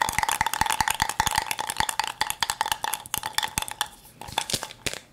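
A hollow plastic toy cup filled with small beads is shaken and tilted in one hand, so the beads rattle and pour inside. Quick, dry clicks come in a fast, dense run, with a faint steady ring near 860 Hz and bright, crisp highs. Toward the end the rattling thins out into softer, scattered clicks.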